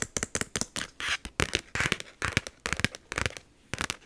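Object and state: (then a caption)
Plastic expanding file folder. A large black plastic expanding file folder with a snap button and colored tabs lies flat while long nails and fingertips tap and scratch across it. A rapid, uneven series of sharp, bright clicks is heard, mixed with short bursts of dry, hissy scratching. Each sound stops almost instantly, with quiet pauses in between.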